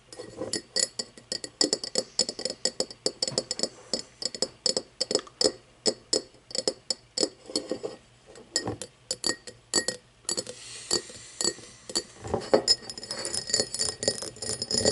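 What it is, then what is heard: Cut glass tumbler tapped and scratched with nails. Long nails tap rapidly on an empty, hollow cut-crystal tumbler, first on its base and then on its side, making bright, short glassy clinks with a faint tone around 420 Hz. About two-thirds of the way through, the taps give way to a steadier, hissy scratching across the cut glass, with occasional clicks mixed in.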